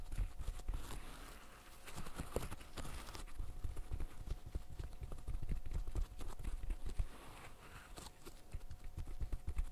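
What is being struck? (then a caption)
Silicone pop-it fidget toy. Fingertips in fishnet gloves press the hollow bubbles of a green silicone pop-it fidget toy. A steady run of soft, dull, low pops follows, each short and dry, with faint scratchy texture between them.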